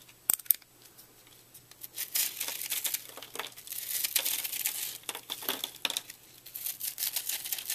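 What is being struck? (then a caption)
Puffed microwaved soap block cut with a utility knife. A fist-sized, porous, airy purple soap block, puffed up in a microwave and solid but brittle and foamy inside, is held in one hand while a red-handled utility knife blade cuts, scrapes and crumbles it. Two sharp clicks open the clip, followed by dense, bright, dry crackling and crunching scrapes that swell and fade in bursts. The brittle soap breaks apart into crumbling shavings.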